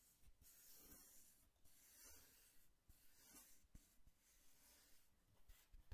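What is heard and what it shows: Fingertips rub and scratch the surface of a tall, hollow brown cardboard box held upright. Soft, papery scraping strokes come in waves with a bright hiss, and faint low thumps sit underneath.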